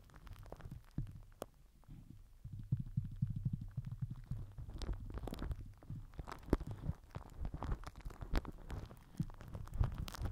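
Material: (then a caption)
Plastic film. A microphone head wrapped in crinkled purple plastic film is rubbed and pressed with the end of a plastic glue stick. This produces a deep, muffled rumbling and thumping with dense, fast crackles, broken by sharp, bright crinkly snaps throughout.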